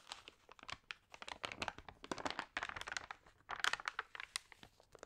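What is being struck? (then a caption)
Glossy paper magazine pages. Long nails and fingertips rub and turn the damp, crinkled pages of an open, water-sprayed glossy paper magazine. A rapid run of soft, bright crinkles and crackles follows, each dying away almost instantly, with brief papery tears and almost no low end.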